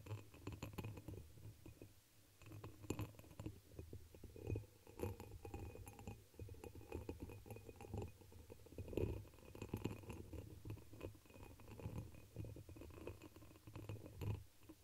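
A hollow, dark red embossed pressed-glass chalice, turned upside down over the microphone, is tapped and scratched across its patterned surface with long pink nails. Quick, dry clicks and scraping mix with a muffled, low, boomy resonance from inside the cupped glass, and the taps die away almost instantly.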